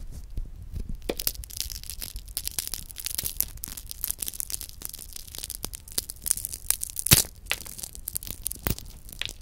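A broken-open chocolate hazelnut praline has its wafer shell and nut pieces crumbled and crushed further between the fingertips. Dense, bright, crisp crackles and tiny snaps run throughout over a soft low rumble, with a sharper crunch standing out near the seven-second mark.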